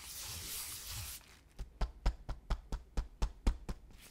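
A latex-gloved hand rubs and scratches across a large, flat, empty, crinkled brown kraft paper bubble mailer lying on a black desk, using flat fingers and fingertips. A bright, steady rustling hiss from the rubbing lasts about a second. It is followed by a quieter pause and then about ten short, dry scratches with low, soft thuds.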